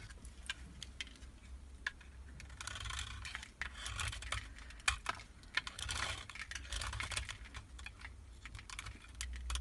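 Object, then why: Bar of soap. A solid white embossed Marseille soap bar, held in hand, is scraped into powdery flakes with a utility knife blade. Dry, crisp scraping rasps come in bright bursts, with sharp little ticks and a soft low rumble underneath.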